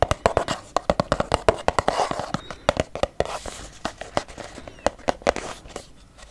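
A filled, medium-size pink Lumene cleansing cream plastic squeeze tube is tapped quickly with long yellow nails. About three dozen sharp, dry clicks come in rapid, uneven bursts, each with a faint hollow mid tone near 650 Hz. They fade almost instantly, with quiet rustling in between.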